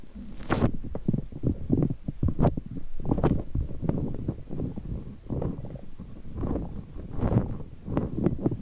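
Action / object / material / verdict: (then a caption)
scrape / soft rubber puffer ball / rubber / none. Fingers squeeze a large, hollow, squishy green soft rubber puffer ball with flexible spikes and rub it against the microphone. The result is a continuous stream of deep, muffled rumbling and thumping, heavy in the low end, with soft squishy friction and occasional brief scratchy bursts that reach into the highs.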